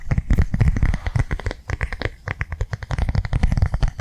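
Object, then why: Plastic cardholder. Fingernails tap quickly across the face and edges of a flat, blue, rectangular plastic cardholder held in both hands. The result is a fast, steady run of short, dull taps, heavy in low thump with faint clicky highlights, each dying away almost instantly.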